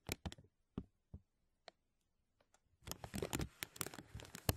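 Fingers grasp and crinkle a thin, clear, embossed plastic vacuum-seal bag draped over a mesh microphone dome. A few sharp, separate crackles come first, followed by a quiet gap. The sound then builds into a dense, continuous crinkling with bright snaps.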